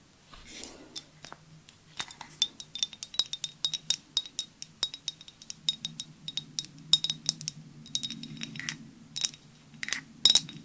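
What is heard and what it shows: Long nails tap delicately on a clear glass perfume bottle with a white cap, held sideways in both hands. About forty quick, bright clinks and clicks come in uneven bursts, each dying away almost instantly over a faint low hum.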